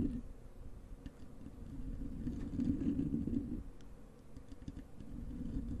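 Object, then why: Foam microphone windscreen. Long acrylic nails of both hands scratch a soft, porous black foam windscreen over a large desktop microphone. A steady, muffled rumbling scrape fills the low end, centered around 258 Hz, with faint high ticks scattered through it and a slight swell in the middle.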